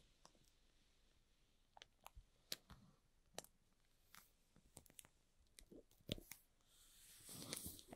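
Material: Cardboard, plastic.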